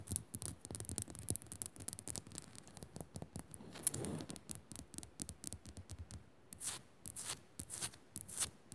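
Fingers rapidly scratch and tap a rock salt lamp. The result is a quiet, dense run of dry, crackly scratches and short tapping clicks, with bright hiss bursts and soft low thumps.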